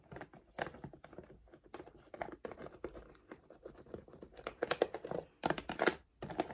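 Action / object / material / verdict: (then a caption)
scrape / laminated plastic dog food bag / laminated plastic / none. Long decorated nails and fingertips rapidly scratch and tap the front of a large, full 7.5 kg Royal Canin dog food bag made of laminated plastic, lying flat on a wooden table. The result is a dense stream of dry, crinkly taps and scratchy scrapes with almost no ring, centred in the midrange, with the loudest bursts of crinkling coming near the end.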